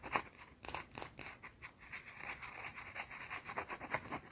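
A small, round, solid white soap bar held in the fingers is scratched and tapped with long teal-painted nails. The result is a quick series of dry, bright scratches and sharp taps with very little low end and almost no ring after each one.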